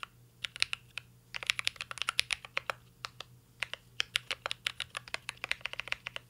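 A full-size mint-green Cyberboard R3 mechanical keyboard with a metal case, plastic keycaps and Holy Panda switches, resting on a desk, is typed on steadily with the fingertips of two hands. Quick, bright clicky keystrokes arrive in an irregular rhythm with brief pauses between bursts. A faint low hum sits underneath.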